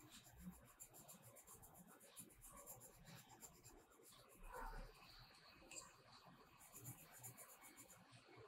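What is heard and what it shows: A purple metallic colored pencil is rubbed back and forth across a page of a spiral-bound paper mandala coloring book lying flat on a black surface, with the other hand resting on the page. The strokes make a quiet, continuous, scratchy rasp with a bright, hissy texture and soft rhythmic swells throughout.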